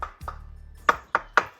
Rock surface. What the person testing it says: Täällä ei kuulu oikein miltään vielä